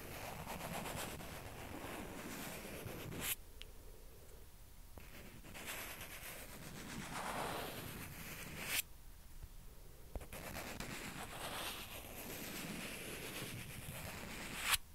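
Long nails slowly scratch and rub across small, hollow white plastic ping pong balls held in the fingers, making a steady, dry, broadband scraping hiss. The scratching stops for two short quiet gaps, and three brief, sharp, bright clicks stand out.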